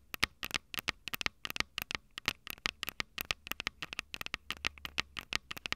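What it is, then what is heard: Handheld audio recorder, mic capsules tapped with fingernails. Long purple nails tap and scratch the metal capsule heads of a small Tascam DR-05 handheld recorder, a plastic-bodied unit with two metal mic capsules. A rapid, uneven series of sharp, dry clicks and scratchy ticks sounds, bright and crisp with almost no low end and a tone peaking around 2.1 kHz. Each hit dies away instantly over a faint low hum.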